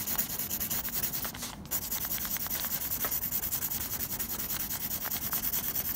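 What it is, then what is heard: Pencil shading on textured drawing paper. A blue mechanical pencil scratches fast, repeated graphite shading strokes across a flat sheet of textured drawing paper. The result is a steady, bright, scratchy rasp of quick overlapping strokes with little low end, easing briefly just before the midpoint before continuing at an even pace.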